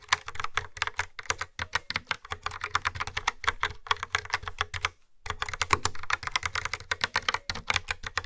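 Fingertips with nails type steadily on a yellow and black plastic retro keyboard with round grey keycaps and a hollow housing. Quick, dry, bright clacks follow one another rapidly, each with a low hollow thump underneath. The typing stops briefly near the five-second mark, then resumes.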